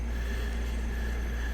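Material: Nothing is struck.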